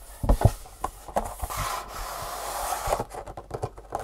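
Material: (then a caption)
Cardboard. Long fingernails scratch and rub across the top and side faces of a long, hollow, printed cardboard shoe insole box. Dull, hollow taps and short scratches come first, followed by a steady rasping rub. A run of quick scratches closes the clip.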